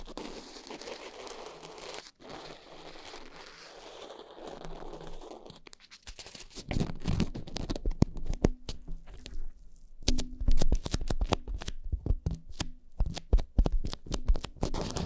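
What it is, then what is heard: Foam microphone windscreen being scratched. Long nails grip and scratch two black foam microphone covers, rubbing along their sides. A soft, steady rustle in the first six seconds gives way to louder, dense crackling scratches and crunchy bursts, heavy in the low end, that continue to the end.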